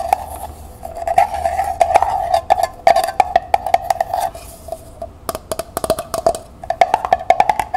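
Long nails rapidly tap the bottom of a small, hollow, empty copper-colored metal pail labeled metallic copper, held on its side. The quick, dry, uneven taps each give a short hollow ring with a steady mid-pitched tone around 690 Hz and bright clicky edges.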